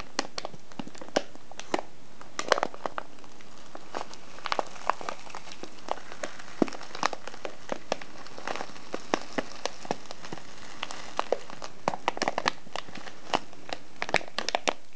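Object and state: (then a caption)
Kraft paper tea bag crinkled. Fingertips press and crinkle a small, filled, ribbed brown kraft paper tea package on a wooden table. Dozens of short, dry crackles and crinkles snap out irregularly over a soft hiss. Each crackle is bright and dies away almost at once.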